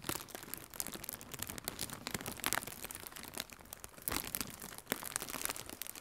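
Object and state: Plastic air cushion packaging being crinkled.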